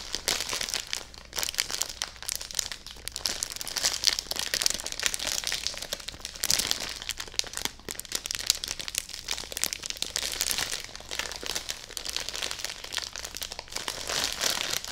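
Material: Plastic film.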